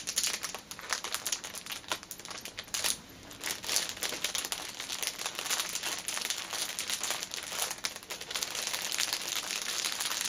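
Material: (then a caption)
Cellophane. Long nails scratch and tap across the plastic film of a flat, cellophane-wrapped fitness band package. The result is a steady stream of bright, dense crinkling with quick crackly taps and almost no low end.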